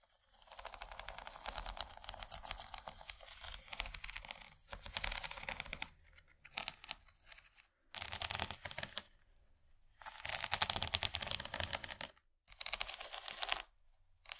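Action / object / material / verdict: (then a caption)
scrape / plastic serving tray with ridged surface / plastic / none. Long painted nails tap and scratch across the raised corn-cob ridges of an empty, rectangular, rigid yellow plastic corn-shaped serving tray, about 35 cm long and hollow underneath, first with one hand and then with both. Dense bursts of rapid, bright, dry clicking and scratching come in runs separated by short near-silent pauses. There is little low end and no ring after each tap.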